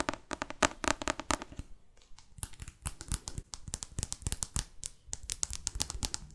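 Long fake nails tap and scratch across the glossy card cover of a thick, solid paperback novel. Quick, dry clicks with very short decay mix with bright scraping crinkles, then a brief quieter pause before the rapid tapping resumes.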